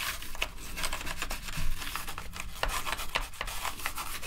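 A gloved hand scrubs a toothbrush between the plastic keycaps of a black plastic gaming keyboard. Dry, bristly rubbing and scratching strokes come in quick bursts with bright hiss, over a steady low hum.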